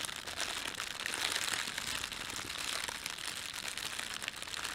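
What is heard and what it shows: Fingertips bunch and crumple an empty, thin red printed plastic bread bag, producing a steady, dense crinkling with sharp crackles. The sound is bright and hissy, sits mostly in the high range with almost no low end, and stays fairly even in loudness throughout.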